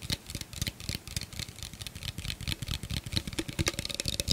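Fingernails tap rapidly on an empty, hollow clear plastic blender cup with a threaded rim, close to the mic. The result is a quick, steady stream of short, dry clicks with a bright, crisp top and a soft low thump under each tap, each one dying away almost instantly.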